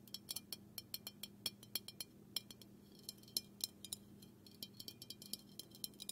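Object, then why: Small aluminium aerosol can. Fingernails tap repeatedly on the side and bottom of a small, hollow, black aluminum aerosol can held in one hand. About thirty quick, bright metallic clicks with a high, glassy ring die away almost at once, over a faint steady low hum.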